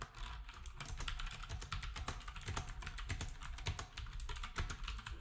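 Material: Plastic.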